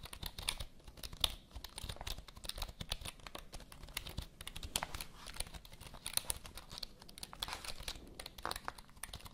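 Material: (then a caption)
Plastic. Long nails type quickly on the keys of a full-size black plastic HP computer keyboard held diagonally. The result is a steady stream of sharp, bright plastic clicks and taps that die away almost instantly, with a soft low thud under each keystroke.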